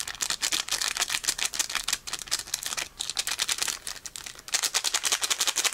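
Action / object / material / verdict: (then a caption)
scrape / foil-plastic card booster pack / foil plastic / none. A small, flat, unopened metallic foil-plastic Pokémon card booster pack with cards inside is held in both hands while the fingertips squeeze and crinkle it and start tearing it open at the top. The result is a rapid, continuous stream of sharp, bright crinkles and crackles with almost no low end, pausing briefly before a denser burst at the end.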